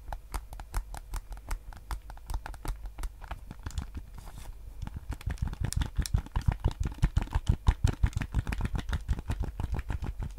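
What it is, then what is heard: Plastic game controller. Fingertips and nails tap and scratch the hollow, hard plastic shell of a white PS5 DualSense controller held in both hands. Quick, dry, irregular clicks with short bright edges sit over a steady low hum. The tapping thins briefly around the middle, then returns denser and louder.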